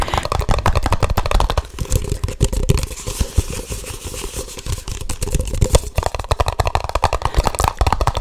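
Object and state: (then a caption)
Empty plastic cups. Two identical empty red plastic party cups, hollow and held upside down one in each hand close to the microphone, are tapped and knocked with fingertips and nails. Quick, rhythmic runs of short, dry taps and clicks follow one another with a low, hollow thump beneath them, easing off briefly in the middle before picking back up.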